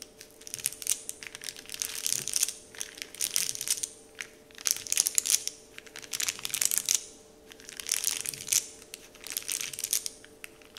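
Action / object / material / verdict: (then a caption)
scrape / printed paper candy wrapper sheet / paper / none. Fingers crinkle a large, flat, heart-shaped printed paper candy wrapper sheet bearing the Dove logo, while the palm rubs across it. The result is waves of bright, crisp crackling and rustling that swell and fade, separated by brief quieter pauses. A faint, steady tone sits underneath throughout.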